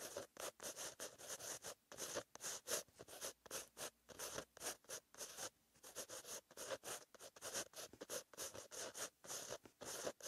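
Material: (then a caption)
Paper. A pen with a green-ink tip scratches across a white lined page of a paper notebook while writing. The result is a quiet run of short, bright, papery strokes separated by brief silences, with almost no low end.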